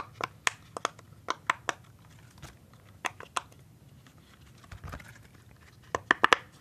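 A hand-sized rainbow silicone pop-it fidget toy has its hollow bubbles pressed and popped with fingertips. About a dozen short, dry pops with a bright click near 1.2 kHz come in small clusters separated by quiet pauses. The sequence ends with a quick run of louder pops.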